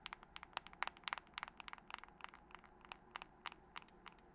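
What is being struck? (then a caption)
Glass and metal smartphone. Long pointed nails tap rapidly on a glass-and-metal smartphone with a glass screen, held first vertically and then horizontally close by. About 25 sharp, bright clicks arrive in an uneven, quick rhythm, each dying instantly with no ring over a quiet background.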